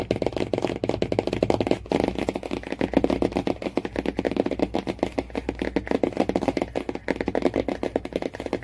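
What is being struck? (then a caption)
Laminated cardboard hardcover book cover. Fingernails tap rapidly on the laminated cardboard cover of a hardcover Jungle Book, producing a dense, steady stream of dry, short clicks and taps. The taps are hollow and papery, centered in the low-mid range with little bright content, and each dies away almost instantly.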